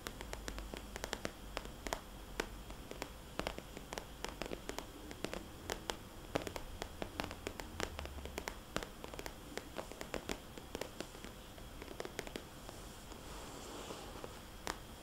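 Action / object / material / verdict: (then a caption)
tap / glossy plastic cosmetics bag / plastic / none. Long polished fingernails tap and scratch a small, red polka-dot, glossy plastic cosmetics bag with a barcode sticker, held near the zipper side of the hollow pouch. Quick, crisp clicks and bright scratchy rustles repeat steadily over a quiet, low rumbling background. Each tap dies away almost instantly.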